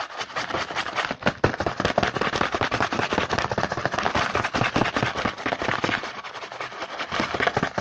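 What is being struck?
Cardboard snack box.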